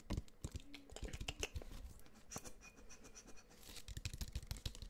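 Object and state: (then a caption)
Plastic water bottle. Fingernails scratch and tap rapidly along the sides and label of a clear plastic water bottle with a black sport cap, partly filled and held close to the mic. Dry, crisp clicks and scrapes come in quick uneven bursts, with dull low thumps under bright scratchy texture and almost no ring after each tap.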